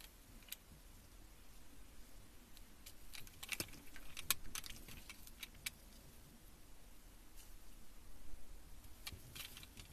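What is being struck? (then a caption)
Bar of soap shaved with a metal peeler. A metal vegetable peeler held against a solid green soap bar in a gloved hand shaves off long curled ribbons. The result is a series of quiet, bright scraping and crackling ticks over a low, steady rumble, with sharper bursts in the middle of the clip.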